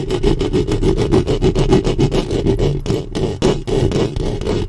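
Long fingernails scratch and rub the metal mesh grille of a black studio microphone, with the hands staying on the mic head. Close, rough scraping comes in rapid, uneven strokes, about three to four per second, carrying a steady tone near 380 Hz and heavy low rumble. There is a short quieter gap near the end before the rubbing picks back up.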